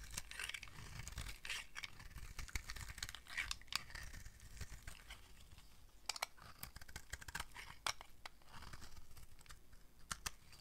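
A solid blue oval bar of dry soap with a ridged top, held in the hand, is carved and scraped with a utility knife blade. Quiet, dry scraping and crumbly tearing sounds come in bursts, with sharp bright clicks as the blade bites and flakes break away.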